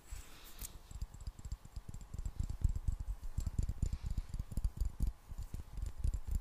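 A medium clear glass jar is held in both hands and tapped or scratched on its sides with long black nails. A steady run of quick, dull, low-pitched taps is heard, each one short with almost no ring and faint bright ticks above.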